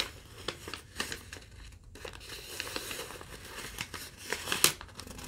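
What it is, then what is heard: Crumpled thin paper sheet. A single thin sheet of yellow lined legal-pad paper, held in both hands, is folded and rolled while long-nailed fingertips crumple and crinkle it. The result is a steady, bright, dry crackling made of many short, sharp crinkles. A louder crisp snap comes near the end.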